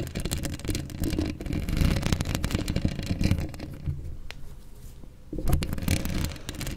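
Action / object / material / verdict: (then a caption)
scrape / wire-mesh microphone grille / metal mesh / none. A black microphone's hollow wire-mesh metal grille is scratched up close by long acrylic nails, making dense, bassy rustling and scraping with many rapid strokes. The sound thins and quiets as one hand pulls away near the end, then the scratching returns strongly.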